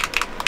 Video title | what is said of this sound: Future Videos and New Paints | actually put shakers in there I mean you can hear it as I'm shaking it